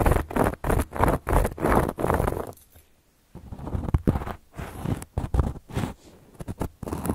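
Long gold metal claw nails scratch across a round, flat, solid cork coaster in quick, dry, raspy strokes with a low, muffled body. The strokes come in short bursts, with a brief near-silent pause midway before the scratching resumes.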